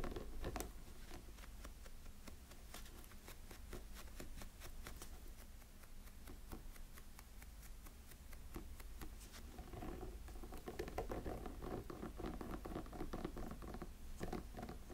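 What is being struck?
Small silicone snowman figure.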